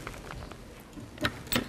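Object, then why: Shake torch with sliding magnet. A pupil shakes a battery-free shake torch back and forth, and the magnet inside shuttles through the coils to generate electricity. It makes soft, quick clicks and rattles, then two sharper knocks near the end as the magnet strikes the ends.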